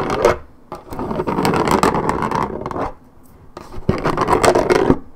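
Long red-painted fingernails scratch across the coated cardboard top and side of a 1.75 L Minute Maid paperboard orange juice carton held on its side. Three bursts of dry, raspy scratching are heard, with brief quiet gaps between them. The tone is a mid-range rasp with sharp bright edges and no ring after each stroke.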